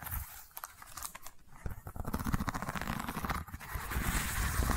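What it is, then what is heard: Woven seagrass tube. Long nails scratch a long cylindrical seagrass tube covered in woven straw weave, held diagonally close to the microphone. The result is a dry, crackly, irregular scraping with brief rough strokes that grow denser and louder toward the end.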